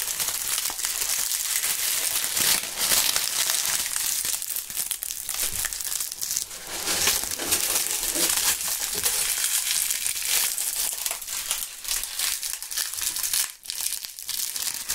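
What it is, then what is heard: Dry autumn leaves. Bunches of dry brown autumn leaves, held in both gloved hands, are crushed and crumpled with the fingertips close to the microphones. A dense, steady crackling and crunching carries through, bright and papery with almost no low end, swelling and easing in brief irregular bursts before a short dip near the end.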